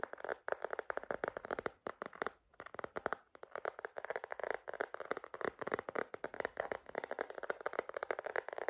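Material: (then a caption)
Plastic. A purple glitter plastic phone case on a phone, held upright, is tapped rapidly on the back with long nails and fingertips. Dozens of quick, dry, clicky taps sit mostly in the midrange and die away almost instantly. The tapping runs in dense bursts, with a brief pause around the 2.5-second mark.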